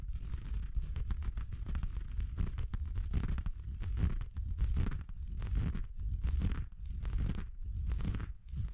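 A red felt Christmas stocking with a white faux-fur cuff, soft, hollow and apparently empty, is held and scratched along the fabric with fingertips and nails. The result is a steady run of soft, muffled scratching and rustling strokes with a heavy low rumble underneath and little bright content.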